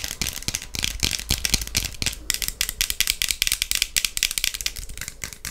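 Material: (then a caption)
Plastic. Long patterned acrylic nails on both hands tap rapidly on the lenses and frame of clear plastic sunglasses with pink lenses worn on the face. Around 35 quick, dry clicks overlap in a dense, bright rattle centered near 3.3 kHz. Each tap dies away almost instantly, with little low end.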